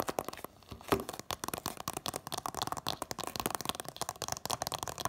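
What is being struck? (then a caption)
Cardboard DVD slipcase. Long nails rapidly tap the front of a hand-held Incredibles 2-disc DVD set in a printed cardboard slipcover. The result is a quick stream of dry, crisp clicks with faint papery crinkles. A short pause near the start ends with one sharper tap before the rapid tapping resumes.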